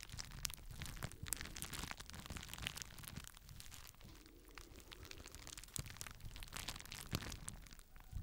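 A small rectangular sheet of clear plastic bubble wrap, held in both hands close to the microphone, is squeezed and crinkled as fingertips pop its air bubbles. Many sharp, dry pops and crackles follow one after another over a steady rustle of crinkling plastic, with bright clicks and a soft low rumble underneath.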